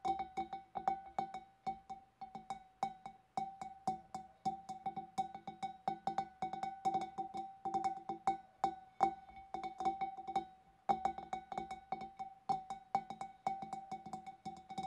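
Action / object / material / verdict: tap / glass fish bowl / glass / none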